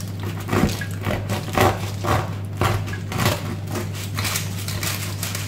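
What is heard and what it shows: A knife slices through the crust of a freshly baked, still-warm homemade loaf meant to be a baguette, producing a series of crisp cracking and crunching bursts over a steady low hum. The crust is very crispy, thanks to a dish of water that made steam in the oven during baking.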